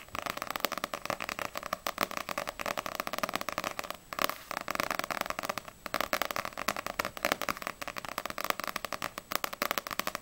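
Long nails tap the spine of a small, solid paperback manga book, Ousama Game volume 1, which has a glossy paper cover, then tap fast across its glossy back cover. The result is a dense stream of quick, crisp, dry clicks centered around 1.2 kHz with bright edges and almost no ring, broken by brief pauses near 4 and 5.7 seconds.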